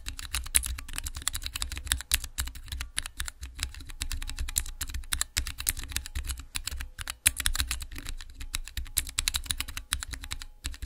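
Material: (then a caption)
Plastic. Fingertips with long nails press and type on the transparent keycaps of a small clear acrylic Cherry MX mechanical keyboard switch tester resting on black cloth. The result is a rapid, continuous stream of short, bright key clacks over a soft low thump, each press dying away almost instantly.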